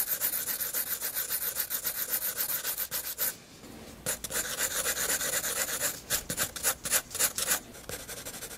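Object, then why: Paper sketchbook page with graphite pencil. A graphite pencil hatches shadows on the neck of a drawing on a flat white page of a spiral sketchbook. Quick, steady back-and-forth rubbing strokes make a bright, dry scratching sound. The strokes pause briefly just after three seconds, then resume in sharper, more separated bursts.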